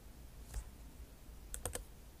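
Long nail tips type on a backlit MacBook Pro keyboard with plastic keycaps set in an aluminum body. A few sparse, sharp clicks with a bright, high edge stand out over a low, quiet background, each dying away almost instantly.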